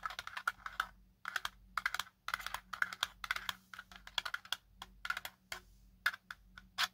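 A small black folded quadcopter drone with a hard plastic body and arms is held in one hand while the other hand's fingertips and short nails tap and scratch its ribbed plastic top. The result is quick bursts of crisp, clicky taps and scrapes, bright and keyboard-like, separated by short pauses.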